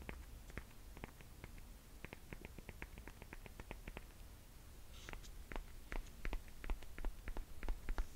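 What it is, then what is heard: Sandal with leather straps and rubber sole, tapped. Long painted nails rapidly tap and scratch a platform sandal with black and silver leather straps and a ridged white rubber sole, moving between the straps and the sole edge. The result is a quick, uneven run of short, dry clicks over a low, quiet rumble, with a brief bright scratch partway through. The taps grow louder and sharper toward the end.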